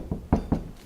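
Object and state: Solid-sounding damped steel car door skin.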